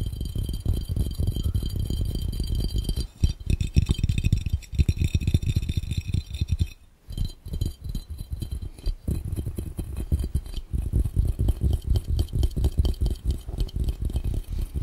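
Both hands tap their fingertips rapidly on a clear, round, hollow, empty glass fishbowl held over the camera lens. The result is a dense, fast stream of short, dull, low-heavy taps with almost no ring, with a brief pause at about three seconds and again around seven seconds.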